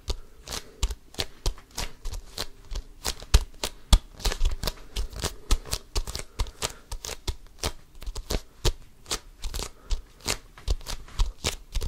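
Fingertips repeatedly scratch and grasp an inflated basketball with a pebbled composite leather cover, close to the mic. Each grab makes a short, dry, scratchy burst with a deep low thump and a bright rasp, in a quick uneven series over about twelve seconds.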